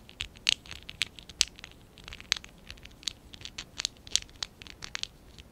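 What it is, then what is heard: Plastic Lego bricks scratched. Fingertips and short nails scratch and rub a small stack of small, hollow pink and dark blue ABS plastic Lego bricks from Lego Classic 11017, held in both hands. The result is an irregular run of quick, dry, bright scratches and ticks that stop dead with no ring and almost no low end, over a faint hiss.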